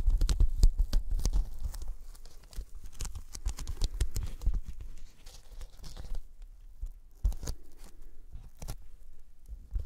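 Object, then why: Thin polyethylene foam sheet. Sticky fingertips tap and pull at a thin white closed-cell polyethylene foam sheet held over the microphones. The result is a quick, irregular run of soft, low thumps with bright, crackly peeling noises as the fingers release. The tapping is busy and loud at first, then grows sparser and quieter in the last few seconds.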